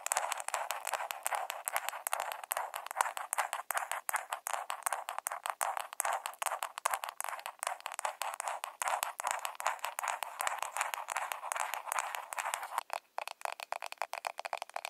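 A small, round pink plastic blush compact with a hollow case is tapped rapidly with long nails. The dense, uneven clicking is bright and hollow, with each tap dying away almost instantly. There is a brief pause near the end before the tapping resumes.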